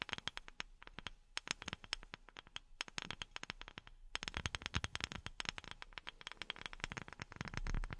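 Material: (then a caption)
Wood. A wooden object is tapped rapidly with silicone rubber pads worn on the fingertips. Short, dry taps with a soft low thump and a bright, crisp edge die away almost instantly, and they grow denser and busier in the second half.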